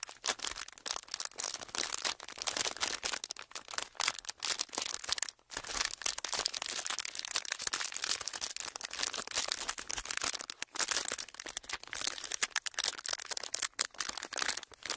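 A thin clear plastic sheet is crinkled, pleated and pressed flat with fingers, producing a continuous stream of bright, crackly crinkles with almost no low end. The rustling runs steadily for the whole clip, with only a few brief pauses.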